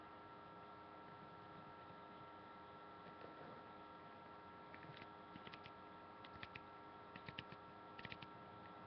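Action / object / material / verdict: tap / paperback book with card cover / paper / none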